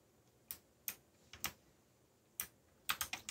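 Fingertips type sparsely on a backlit mechanical computer keyboard with plastic keycaps, pausing between keystrokes. Nine short, bright clicks are heard, each dying away almost at once, with a quick cluster of strokes at the end.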